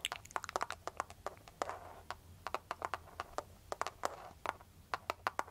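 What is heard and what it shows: Long, pointed, foil-covered nail tips tap and scratch a clear plastic cartoon-print case on a handheld smartphone, which sounds solid. About 28 sharp, bright clicks ring out quickly in an irregular rhythm, with brief soft scratchy rustles between some taps. The overall sound is quiet.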